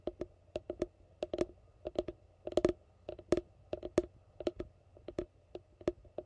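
Fingertips tap on the base of a hollow yellow plastic container held upside down. The result is a quick, irregular run of short, dry clicking taps with a hollow tone around 350 Hz, each dying away almost instantly.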